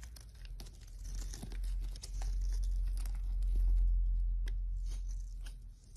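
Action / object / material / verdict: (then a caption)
scrape / bar of soap / soap / none. A small metal knife scrapes and shaves thin curls from a solid rectangular bar of pink and white striped soap held in one hand. Dry, crunchy scraping strokes crackle unevenly over a steady low rumble, with bright crisp transients as each curl peels away.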